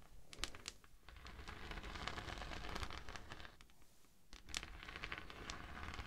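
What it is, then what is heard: Natural beeswax sheet. A thin, flexible, natural yellow honeycomb-textured beeswax sheet held over a dummy head microphone is scratched with the long nails of both hands. This makes a dense, crinkly rustling with bright crackling clicks over a low rumble. The sound briefly quiets about two-thirds of the way through, then picks up again.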